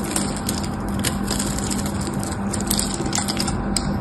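A small metal knife cuts a crosshatch into a solid mauve bar of soap with a textured pattern, held in the hand, so chips flake off. A steady, crackly scraping runs throughout, with brief bright ticks and a faint low hum beneath.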